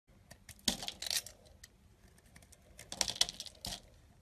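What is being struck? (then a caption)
Bar of soap shaved with a small knife. A small yellow-handled carving knife shaves and scrapes curls off a solid, hand-sized tan bar of soap with an embossed logo, held in the palm, as flakes pile up nearby. Quiet, crisp, bright scraping bursts are heard as short shaving strokes, with faint softer scratches between them.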